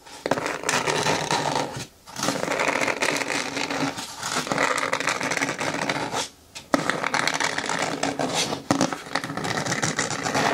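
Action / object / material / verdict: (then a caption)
scrape / hard plastic bin with lid / plastic / none. Long nails scratch and tap along the top rim edge of a green hard plastic bin with a lid, held bottom-facing with hands gripping its sides. A dense, steady run of dry scraping and quick ticking taps fills the clip, breaking off into two short silences around 2 and 6.5 seconds before resuming.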